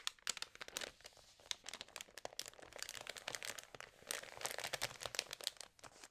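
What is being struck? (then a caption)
Glossy paper magazine pages. The thin, lightly water-sprayed glossy pages of an open food magazine on a table are scratched with long nails and rubbed with flat fingers, and one page is turned. The result is a dense run of quiet, bright, dry crinkles and crackly scratches with almost no low end, swelling louder toward the end.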